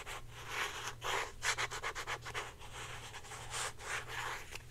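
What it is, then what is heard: Plastic deodorant stick. Long painted nails rapidly rub and scratch a hand-sized, hollow blue plastic Secret deodorant stick as it is held up. The result is a quick run of dry, bright scratchy bursts in an uneven rhythm, with a faint steady low hum underneath.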